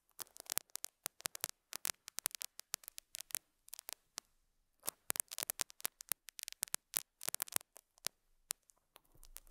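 A metal dental scaler hook scratches and picks at a small square beige felt pad resting on a lapel mic. Quiet, dense bursts of bright, crisp scratching clicks come in irregular clusters with short pauses. Each scrape is dry and dies almost instantly, with almost no low end.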